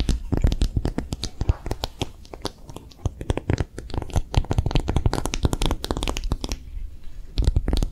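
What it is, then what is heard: Silicone phone case, tapped and scratched. A pink soft silicone phone case with a raised bumpy back, hollow and empty, is held in the hands and rapidly tapped and scratched with long nails. The result is a dense stream of sharp, dry clicks and scratches over a low, muffled thump, with no ring after each hit. The tapping eases into quieter scratching around the two-to-three-second mark and again near seven seconds.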